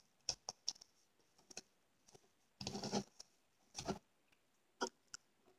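A small rectangular yellow foam kitchen sponge with a dark scouring pad, frozen stiff with ice on its edge and scored into cubes, is held in one hand and squeezed and crunched by the fingertips. It gives sharp, dry, crisp clicks and crackles at irregular intervals, with two longer crunching bursts in the middle. The sound is quiet and bright, with no ring after each crack.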